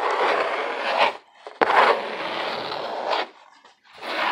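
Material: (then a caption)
Cardboard. Fingernails scratch the ribbed side of a hollow corrugated cardboard box in three passes separated by short pauses, producing a dry, raspy scraping sound with bright edges. Near the end, the box is tilted toward the camera.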